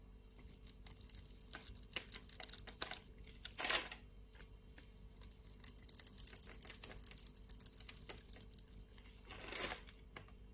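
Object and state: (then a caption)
Soap bar being scraped with a blade. A metal utility knife blade scores a diamond pattern into a solid, hand-sized purple Palmolive soap bar held in the palm by a hand with long nails, then scrapes off flakes. Many quick, bright scratching and scraping strokes are heard over a faint low hum. Two longer, louder scrapes stand out near four seconds and near the end.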